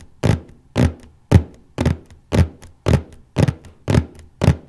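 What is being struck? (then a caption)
Cardboard box lid. Fingertips and nails tap and scratch gently in one spot on the large cardboard lid of a copy paper box. Nine soft, dull, bass-heavy thumps come at a steady pace, each dying away quickly with a faint brushy scrape trailing behind.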